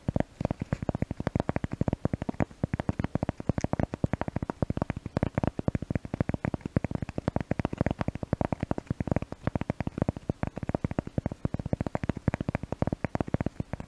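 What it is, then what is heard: Cork tapped. A cork object is tapped rapidly and continuously, giving a steady stream of short, dry, low-pitched clicks with almost no ring. The tapping is used to test a new microphone.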